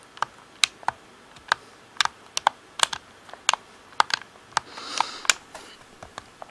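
Fingertips tap the buttons and hollow shell of a black plastic Xbox controller, producing a quick series of sharp, bright clicks with almost no ring. Around the five-second mark a brief, soft hiss rises beneath the taps.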